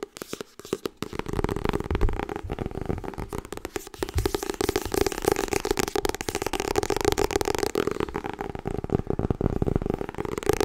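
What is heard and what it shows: A solid Harry Potter softcover book with a glossy paper cover, held in the hands, is tapped and scratched quickly with long red-painted nails. After a sparse, quiet first second, a dense, continuous run of fast, crisp clicks and scratches follows, with a steady hollow midrange tone around 410 Hz under the rapid taps.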